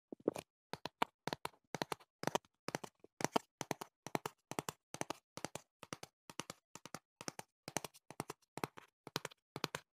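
Fingertips tap the flat panel of a hollow printed cardboard box held beside the mic, making quick dry taps in small clustered bursts. Each tap is short with no ring, centered in the mid range around 700 Hz with a bright edge.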